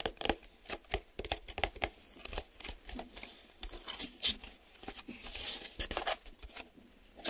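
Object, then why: Printed cardboard box. Fingertips tap quickly on a small, empty, hollow printed cardboard retail box held up in one or both hands, striking its glossy printed face and its open end. The result is an irregular series of short, dry, hollow taps with a bright papery edge and almost no ring, and a faint crinkle between the hits.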